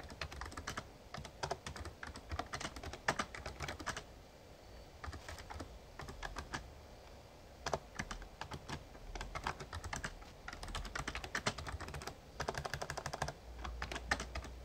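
Fingertips type on the keys of a full-size backlit plastic Razer Ornata Chroma mecha-membrane gaming keyboard. The result is bursts of quick, short, crisp clacks separated by brief pauses, over a low, steady rumble.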